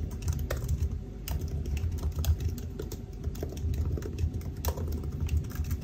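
Fingertips of both hands type continuously on the black plastic keys of a silver aluminium laptop keyboard. The result is a steady stream of short, soft clicks and taps, with a heavy low thud beneath them and faint bright ticks on the sharper strokes.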